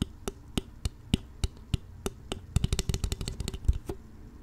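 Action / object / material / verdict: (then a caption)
tap / thin plastic water bottle / plastic / none. Fingertips squeeze, tap and crinkle the ridged walls of an empty, crumpled, hollow clear plastic water bottle with a blue label, about 0.5 L, held sideways in both hands. Short, dull, low-heavy taps come at a steady, even pace, then speed up into a quicker flurry of crisp crinkling clicks. The sound ends with a single last tap.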